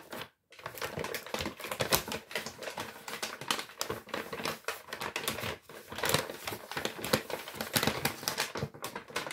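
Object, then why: Kraft paper shopping bag. A large, empty brown Lidl kraft paper shopping bag is crinkled and squeezed by hand. The clip is dense, crisp crackling and rustling, with many sharp, bright snaps that die away at once. There is a brief silent gap near the start.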